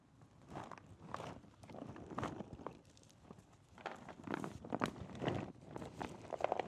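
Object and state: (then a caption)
Shrink-wrapped cardboard box. Fingertips tap a small Super Metroid puzzle box made of cardboard and sealed in plastic shrink wrap while it is held up and tilted. The result is a quiet, irregular run of soft, dry taps with a faint crinkle from the wrap, and no ringing after each touch.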